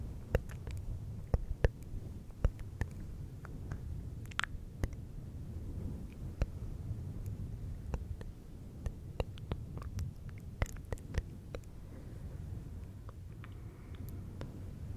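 Fingertips of both hands rub and scratch a fluffy synthetic fur windscreen on a silver microphone. A steady, muffled low rumble fills the clip, broken by many short, sharp scratchy clicks and brief bright crackles throughout.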